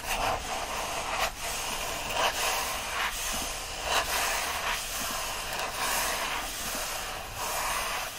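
Fingers grip, rub and scratch the bundle of upright paper pages of an open paperback book. The result is a steady, dry, bright papery hiss with irregular scratchy swells, and no distinct taps.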